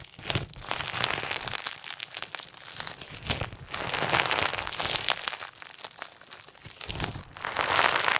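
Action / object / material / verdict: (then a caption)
scrape / clear slime with plastic sequins / slime, plastic / none. Clear slime with pink and white plastic sequins is kneaded and squeezed into a ball with both hands as the fingertips press in. Dense, bright crinkling and crackling rise and fall in irregular waves over about eight seconds, with louder stretches near the middle and the end.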